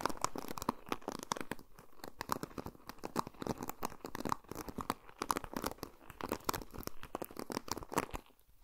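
Fingertips and nails pluck and scratch across the plastic pin bristles of a paddle hairbrush, which has a black and silver plastic handle and a black cushioned head, held close to a Tascam recorder. A rapid, uneven stream of dry, crackly clicks and scratchy flicks runs throughout, with a short, sharp ring at each onset. The sound quiets near the end.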